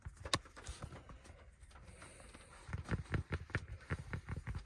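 Fingertips scratch and rub a black fabric snapback cap with a stiff brim and an embroidered logo as it rests on a lap. A sharp scratch comes first, then a stretch of quiet, soft rubbing, then a quick, uneven run of about eight short, dull, low scratching strokes.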